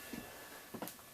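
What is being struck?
Nothing is struck.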